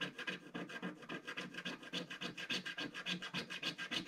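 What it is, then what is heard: Scratch-art card being scraped. A wooden stick scratches the black coating of a flat, solid scratch-art card page with rapid, short, fairly regular strokes. Each stroke makes a dry, raspy scrape with bright, hissy texture and a brief, dead stop.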